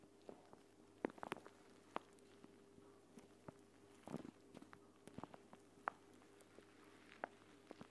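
A clear plastic eye mask pouch filled with green gel beads lies on a mat while one hand crumples, pinches and scratches the plastic. Quiet, sharp crinkles and clicks come in scattered bursts over a faint steady low hum.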